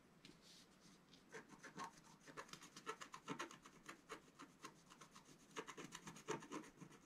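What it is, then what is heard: Scratch art paper sheet being scratched. A wooden stylus scratches and rubs across a flat black coated scratch art paper sheet lying on a table, filling in shapes. It makes quiet, dry, papery scratching in a rapid series of short strokes, each a brief bright rasp with no ring afterward.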